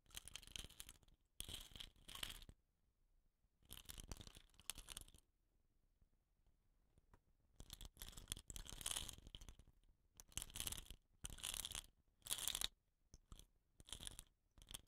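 Fingertips scratch the painted surface and woven rattan cap of a hollow, painted bamboo rain stick. Bursts of dry, bright scratching come in uneven clusters separated by near-silent pauses. The scratching is crisp and fine-grained, mostly high with a thin low rumble underneath.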